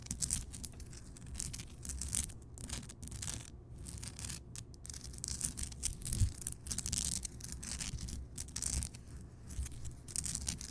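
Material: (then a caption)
Rock salt. Long nails scratch and tap the rough crystal surface of a large, solid, lit Himalayan rock salt lamp. The result is a quiet, continuous, dry scratching rustle with a bright, hissy top, a low rumble underneath, and frequent short, soft taps that die away almost at once.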